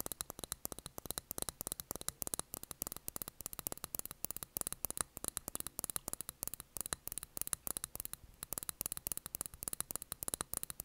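Long nails tap and scratch a small glass jar filled with blue candle wax with a cork lid on top, on a desk. Dozens of rapid, sharp, dry clicks with no ring ride over a bright, hissy background and a faint low hum throughout.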